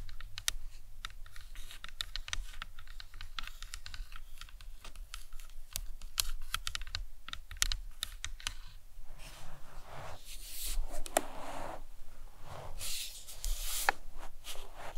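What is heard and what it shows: Long nails tap quickly and lightly on the cranium of a life-size, hollow plastic anatomical skull model, making a dense run of short, dry, clicky taps much like typing on a keyboard. About two-thirds of the way through, the taps mix with softer, breathy scratching bursts with bright edges. A steady low rumble sits underneath throughout.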